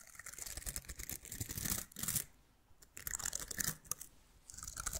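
A small plastic bottle-brush miniature Christmas tree with green plastic bristles is held in one hand while fingertips and nails scratch and brush the bristles close to the microphone. The result is a bright, crisp, crackling rustle in dense bursts, with brief quieter pauses between scratching passes.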